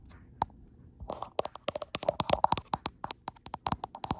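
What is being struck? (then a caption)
Glass smartphone back tapped with long nails. Long acrylic nails with black tips tap and scratch the frosted glass back of a gold iPhone Pro in view of a mirror. After one early isolated tick and a brief scratchy scrape, a quick run of sharp, dry clicks follows, each dying almost instantly with a bright edge and a hollow tone near 850 Hz.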